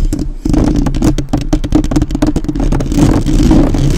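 Long nails rapidly tap and scratch the metal mesh grille of a black, uncovered microphone, at one point with only one hand on it. The sound is a dense run of quick, dull thumps with a boomy low end and a tone near 300 Hz, under a steady scratchy rustle that swells toward the end.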